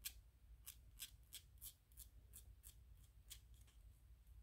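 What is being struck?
Small 3D-printed PLA plastic toy.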